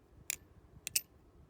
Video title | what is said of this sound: Squid Industries Krake Raken Trainer Review [Ramble] - Constantly Quarantined | it also rings a little bit